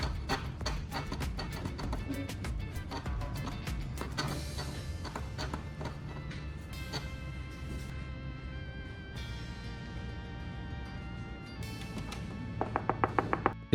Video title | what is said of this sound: Nobody Knows This Trick! Spray WD-40 on Hot Glue and Fix Every Plastic Crack at Home! 😱 | benar-benar padat saya mengetuknya beberapa kali